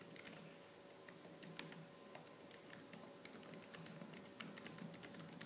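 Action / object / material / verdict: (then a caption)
tap / plastic laptop keyboard keys / plastic / none. Fingertips with purple-painted nails type fast on the black plastic keys of a laptop keyboard. The result is a quick, steady stream of bright, crisp plastic clicks over a faint, steady low hum.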